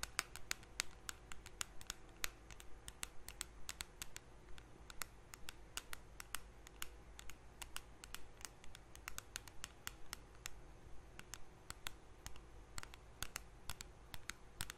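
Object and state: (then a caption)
Small metal cream tin tapped with fingernails. Long nails tap and scratch along the side rim of a small round blue metal Nivea cream tin held edge-on. Dozens of quiet, sharp, bright clicks come at a loose, uneven pace, with no ring after each one, over a low steady hum.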